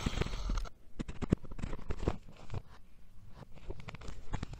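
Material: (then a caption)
Sand. A steel knife blade cuts vertical slices through an already sliced, solid purple kinetic sand dome. It makes a brief brighter scraping burst at the start, then a steady run of soft, dull crunches and gritty scrapes.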